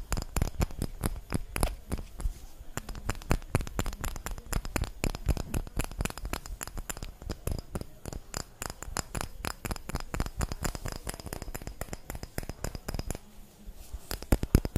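Long blue nails rapidly tap and scratch the walls of a small, empty, clear glass jar with an orange plastic lid held in the hand. The result is a dense, steady stream of sharp, dry clicks and short scratches, each with a low thump and almost no ring, and a few louder taps stand out near the end.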